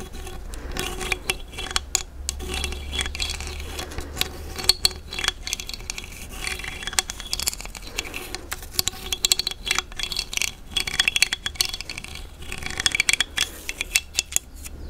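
A thin dark stick is run across the ridged opening of a large hollow cowrie seashell, making a rapid stream of bright, dry clicks and rattling scrapes. The ticks are sharp and short with almost no ring, over a faint low hum.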